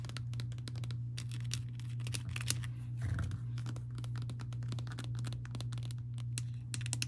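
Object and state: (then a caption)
Plastic honey bear bottle. Long painted nails tap and scratch on a small clear plastic bear-shaped squeeze bottle with a yellow plastic cap, mostly full of honey. Quick, irregular, bright plastic clicks and crinkly scratches ring over a steady low hum.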